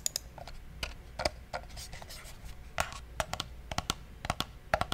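Fingertips click and tap the side buttons of a small, hollow, black plastic gaming mouse. The result is an uneven run of short, dry plastic clicks with a hollow midrange knock and a bright edge, each dying away almost instantly. A faint low hiss fills the gaps between clicks.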